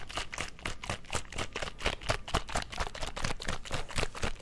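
A small squeezable plastic Mio drink-enhancer bottle with liquid inside is held in one hand and shaken close to the mic. Quick, uneven sloshing bursts repeat at roughly two per second, each with a dull low thump and a bright splashy hiss that dies away fast.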